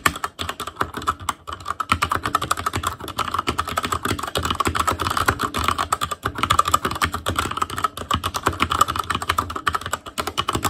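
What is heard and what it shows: Fingertips of both hands type rapidly on a full-size ASUS ROG Claymore Core mechanical keyboard, with plastic keycaps on Cherry MX Red switches over a metal plate, a hollow case and RGB backlight. A dense, continuous stream of short, sharp plastic clacks with very brief ring centers on a bright clicky tone around 1.2 kHz, with a faint low thud under each stroke.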